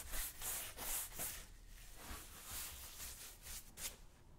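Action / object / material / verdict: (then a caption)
scrape / leather work boot brushed with a horsehair brush / leather / none. The right boot of a black leather lace-up work boot, worn on a foot, is brushed back and forth with a wooden-handled horsehair brush. The result is a series of soft, bright, bristly swishes that rise and fade with each stroke over a faint low rumble, with no ringing afterward.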